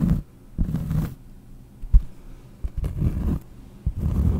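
Long painted nails scratch the surface of a large, round, solid cork trivet held close to the microphone. The result is muffled, low-pitched rasping that comes in short bursts separated by brief quiet gaps, with a few sharper knocks between them.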